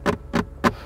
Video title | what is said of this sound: 2024 BMW i5 Malaysian review - is the G60 5 Series EV any good? | it sounds cheap if you knock on them